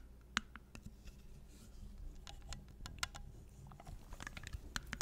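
A small, hollow, clear glass mason jar with a silver metal lid is held upside down while long nails scratch and tap on the glass and the lid. Quiet, irregular sharp clicks and bright ticks ring around 1.5 kHz and die away almost instantly, over soft scratching and a steady low rumble.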